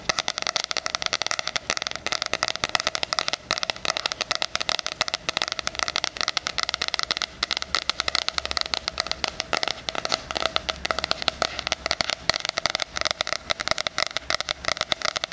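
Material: Cardboard.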